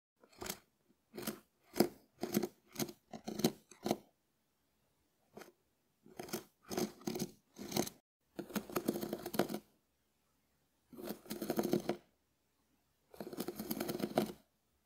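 A hand-sized, ribbed, shell-shaped, hard dried konjac sponge is scratched with a small wooden spoon while held in the fingers. Short, separate, dry, crisp scratching strokes come first, followed by three longer runs of continuous rasping. The sound is quiet and bright, with very little low end.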